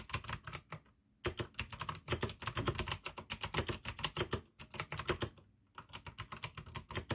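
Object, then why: Plastic mechanical keyboard with clicky switches. Fingertips type fast on the keycaps of a full-size pink plastic AUKEY mechanical gaming keyboard with RGB backlight, clicky blue switches and a hollow case, by candlelight. Rapid runs of sharp, bright clicks ride over a low, hollow thud, broken by a few brief pauses. Each keystroke dies away almost instantly.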